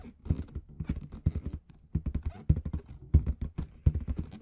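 Long red nails tap and scratch a large, hollow, inflated clear latex balloon with red confetti at the bottom. A quick, uneven series of dull, low thumps mixes with soft scratchy rubbing, each tap dying away almost instantly without ringing.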